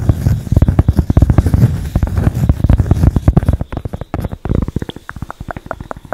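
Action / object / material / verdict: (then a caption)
tap / cork pad / cork / none. A flat, solid, palm-sized tan cork pad held in both hands is scratched and tapped with long acrylic nails. The result is a dense run of quick, dull, low-heavy taps and rough scratching with almost no ring. It thins out after about four seconds into sparser, slightly brighter individual taps.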